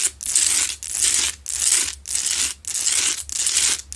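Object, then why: Salt rock lamp. Long nails scratch the sides and top of a lit, medium, solid Himalayan salt rock lamp with rough salt crystal faces. The result is a steady series of harsh, bright, gritty rasping strokes, roughly two per second, each separated by a short gap. There is almost no low end.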